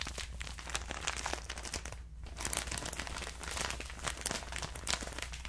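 A clear plastic bag full of cotton rounds, held close, is crinkled and squeezed with the fingers. It makes a dense run of bright, crisp crinkles over a steady low hum, with a brief quieter pause near the two-second mark.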